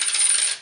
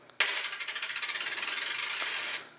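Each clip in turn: First: clad (non-silver) quarter. Second: real 90% silver quarter.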